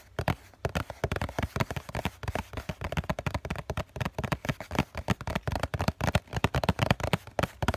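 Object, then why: Cardboard tissue box. The hollow, flat bottom face of a COCON cardboard tissue box is tapped rapidly with the fingertips and nails of both hands. The result is a dense, uneven stream of short, dry, hollow knocks with a low, boxy thump and very little ring. Occasional brighter clicks from the nails sit on top.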